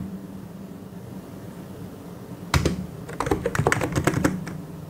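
Both hands' fingertips type and tap on a full-size white and grey mechanical keyboard with plastic keycaps. After about two and a half seconds of faint low hum, a sharp key strike starts a quick burst of crisp, bright clicks and clacks with very short decay. The typing then fades back into the quiet hum.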